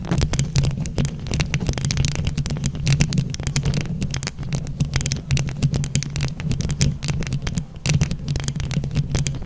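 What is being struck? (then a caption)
Microphone grille covered in plastic rhinestones. Both hands scratch and tap a microphone grille covered in plastic flower rhinestones with long nails. The result is a dense, continuous stream of sharp bright clicks and scrapes over a heavy, booming low rumble with a steady hum near 145 Hz.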